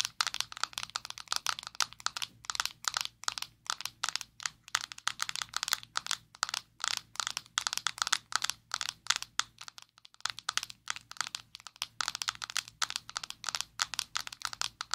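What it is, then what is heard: Plastic powder jar tapped with nails. Long nails tap rapidly on a closed, small square black plastic Maybelline Fit Me loose powder jar held in both hands. The sound is a steady stream of sharp, dry, bright clicks with almost no low end, each tap dying away instantly.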